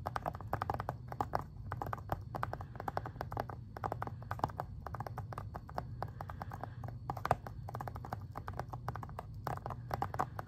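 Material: Plastic.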